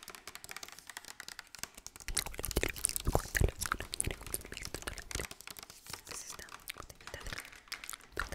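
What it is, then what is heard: Plastic bottle of cooking oil. Long acrylic nails tap and scratch a medium-size, liquid-filled clear plastic bottle of yellow Nutrioil cooking oil with a green cap, held up in the air. Quick, irregular clicks and crinkly scraping ticks run throughout, growing louder and denser after about two seconds.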